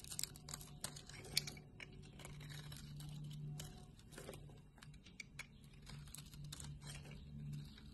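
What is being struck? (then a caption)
Bar of soap. A solid blue bar of soap, held in a palm by a hand with long red nails, is cut and scraped in layered slices with a utility knife blade. It sounds like soft, dry, crisp scrapes and sharp little cracks, some bright, over a steady low hum. Flakes of soap fall off.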